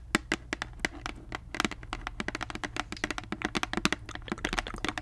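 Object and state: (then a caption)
Plastic mouthwash bottle. Long nails tap rapidly across the cap and body of a large, clear plastic Listerine mouthwash bottle full of liquid. The result is a dense run of short, crisp, bright clicks that die away almost instantly, over a faint low hum.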